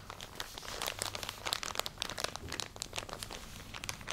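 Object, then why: Plastic package of cotton pads. Fingernails scratch and squeeze a full plastic package of cotton pads held close to the microphone. The result is a dense run of bright, crisp crinkles and scratchy crackles at a soft, steady level, with almost no low end.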